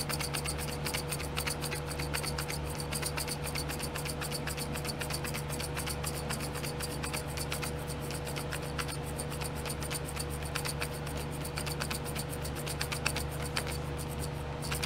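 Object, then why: Tray of small plastic glitter pots. A fingernail scratches the lids of small clear domed plastic nail glitter pots set in a pink plastic tray. Dense, fast, irregular scratching and ticking plays at an even level throughout, over a steady low hum and a faint constant tone.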